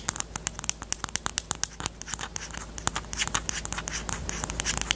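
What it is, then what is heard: Plastic highlighter pen. Long teal nails tap and scratch along the barrel of a small, hollow pastel pink plastic highlighter with a black cap, held horizontally. The result is a rapid run of sharp, bright plastic clicks centered near 3 kHz. Toward the end, the clicks blur into a denser scratching patter over a faint low hum.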